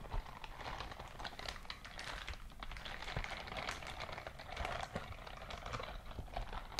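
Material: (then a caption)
Silicone. A white silicone dishwashing glove is held open close-up, its fingers flexing so the silicone bristles rub against each other. The result is a dense, steady run of soft crinkly rubbing and crackling with quick overlapping ticks and a low rumble underneath.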